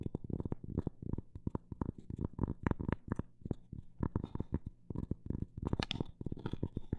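Long black nails tap and lightly scratch the surface of a round, solid, flat cork coaster with a printed flower design, held close up. The taps come in fast and slow runs and sound dull, low and very short, with almost no ring and a faint low tone, plus brief soft scratching in between.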